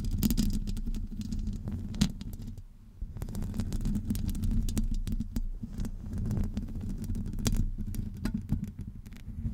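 Long acrylic nails scratch along the sides of a hollow metal wire-mesh microphone grille. They make a dense, uneven run of rasping scrapes, heavy in low rumbling tones, with brief bright clicks cutting through. The scratching goes on continuously and dips briefly in the middle.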